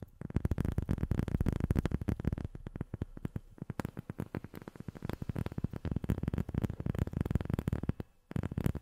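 A rubber sheet is tapped rapidly with long fingernails, producing a dense run of short, dull, low taps that stop almost instantly. The tapping pauses briefly near the end, then resumes.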